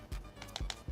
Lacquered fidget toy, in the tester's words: this one's definitely not ringing right